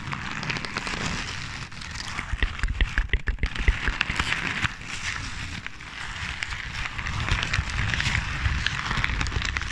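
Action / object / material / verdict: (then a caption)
scrape / paper / paper / none. Crumpled paper is squeezed and crinkled by hand right next to the microphone. It gives a dense, continuous crackling rustle with bright snapping detail over a low, thumping rumble. The crackle grows louder and sharper in the middle, eases off, then builds again toward the end.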